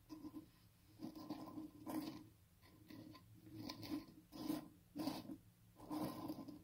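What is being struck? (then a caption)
Small baked filled biscuits. A pile of small star-shaped, baked, crunchy filled biscuits lying on a green surface is rubbed, scratched and shuffled with fingertips. The result is a series of soft, dry crunching and rasping bursts with a low-mid tone and brief bright edges, separated by quiet gaps.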